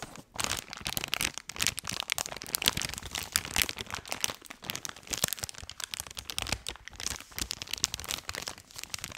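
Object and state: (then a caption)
Crinkled soft plastic wet wipes pack. A full, blue, soft plastic wet wipes pack is squeezed and crinkled in both hands against the mic. Dense, bright crinkling and crackling run continuously for about nine seconds, with sharp snaps rising out of a steady rustle and very little low end.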